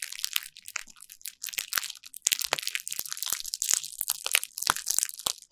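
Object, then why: Plastic bubble wrap sheet. A small derma roller with a green needle head is rolled by a hand with long nails across a flat sheet of clear plastic bubble wrap on a table, crushing and crinkling the bubbles. The result is a dense stream of bright, crunchy crackling broken by sharp, dry pops and clicks that stop instantly, with almost no low end.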